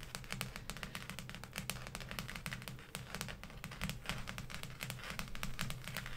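Long painted acrylic nails on both hands tap and scratch across the front cover of a large, thick, closed hardcover law dictionary with a maroon textured cloth or leatherette cover, lying flat on a table. Rapid, crisp, dry clicks and light scratching run continuously with very short decay, over a steady low hum.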